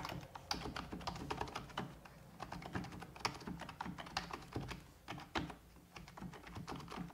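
Fingertips with long red-painted nails type rapidly on a full-size black plastic computer keyboard resting on a wooden desk. It makes a quick, uneven stream of short, crisp clicks and clacks with bright edges over soft, low thuds, each tap dying away almost instantly.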